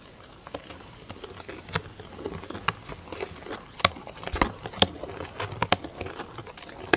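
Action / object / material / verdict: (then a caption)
tap / large round plastic lid with clear plastic top / plastic / none. Long acrylic nails tap and scratch a large, round, hollow black plastic lid with a clear plastic top. Quiet, sharp clicking taps come at irregular intervals over a soft, bright scratching patter. Each tap dies away almost instantly.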